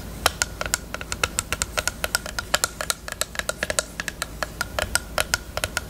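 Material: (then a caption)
Plastic. Long nails tap and scratch a small, hollow pink plastic eyelash case with a mirror lid. Around forty quick, light, bright clicks come in an uneven stream, each dying away almost instantly, with a soft scratchy texture between them. A faint steady low hum sits underneath.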